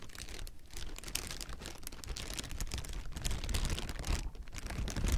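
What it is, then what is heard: Plastic air-cushion packaging. Hollow, clear plastic air-pillow packing is grasped and squeezed with the fingers, producing a dense, continuous run of crinkles. The crackling is bright and busy, with a steady low rumble underneath, and grows slightly louder toward the end.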